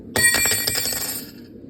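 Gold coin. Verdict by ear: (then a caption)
Real. A 22-carat gold gremse coin weighing about 16.05 g is dropped, giving a sharp metallic strike and a few quick bounces. A clear, bright ring centred near 1.9 kHz with high overtones fades over roughly a second. That ringing tone falls in the correct range for real gold, a simple sign the coin is not fake.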